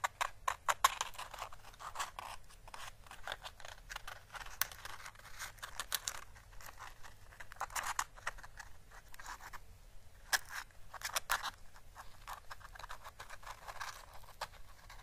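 A single small, orange, dried Chinese lantern (physalis) husk with a thin, papery, hollow shell is held and gently squeezed and rubbed between fingertips. It gives dense, quiet, crackling rustles with dry, sharp clicks and brief scratchy bursts that run from the midrange up into the high range. The clicks die away almost instantly.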